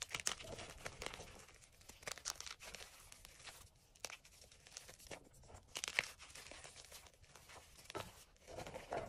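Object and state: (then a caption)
Crumbling gym chalk chunks. Fingers crush, rub and break up soft flakes of crumbled white and green dyed gym chalk in an enamel bowl. The result is a quiet, bright run of dry crunching and crumbling with many short, sharp crackles. A soft gritty rustle fills the gaps between them.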